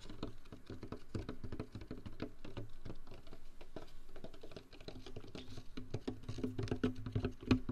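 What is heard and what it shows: A large, hollow white foam fast-food cup that appears empty is held close to the microphone and scratched and tapped with fingernails and fingertips. The result is a dense, fast patter of dull, low-heavy taps and scratches with very little brightness. Each tap dies away almost instantly, with a faint hollow tone.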